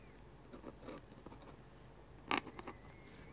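A metal-nib dip pen scratches lines across flat white drawing paper as a hand writes text. Soft, dry scratching strokes sound against a quiet background, with one sharp, brighter scrape near the end followed by a few lighter strokes.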